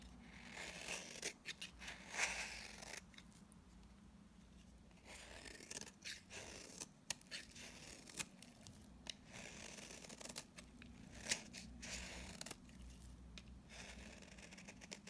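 A utility knife blade scrapes powdery shavings off a dry, solid mint-green bar of soap held in the hand. Quiet, bright, crisp scraping strokes come in short bursts and longer rasping passes, with a faint low steady hum underneath.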